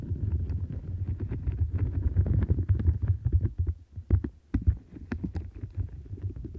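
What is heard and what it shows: Long nails scratch the bristles around the rim of a turquoise silicone bristle mat. A dense, low, muffled rumbling scrape carries sharp little clicks and ticks, briefly dropping quieter near the middle before the scratching picks up again.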